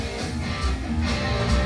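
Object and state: Nothing is struck.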